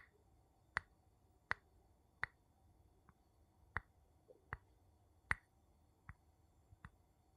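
A wooden spoon taps on glass in slow, evenly spaced strokes, each a short, sharp tick with a bright ring near 2 kHz that dies away almost at once. Some taps land harder and louder than others, and quiet silence fills the gaps between them.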